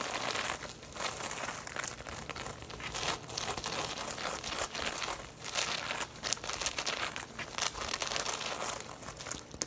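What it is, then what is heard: Woven straw tote bag. Long nails scratch over the woven straw of a hollow braided straw tote bag as it stands upright and then tilts. The sound is a dense, bright, crinkly rasp of quick scratchy bursts with almost no low end. It rises and falls in short swells across the clip.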